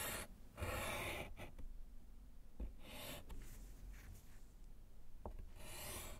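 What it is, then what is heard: Slate chalkboard in a wooden frame. A gloved hand writes with pink chalk on a small, flat, solid slate chalkboard in a wooden frame. Bursts of bright, scratchy rasping strokes are separated by short pauses and small taps, over a low, steady rumble.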